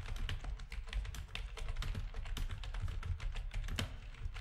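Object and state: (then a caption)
Plastic gaming keyboard being typed on. Rapid typing with the fingertips of both hands on a full-size black plastic backlit RGB gaming keyboard with a hollow housing. The result is a steady, fast stream of short clacks that die out almost at once. Each press carries a deep, hollow thud under a thin, bright click.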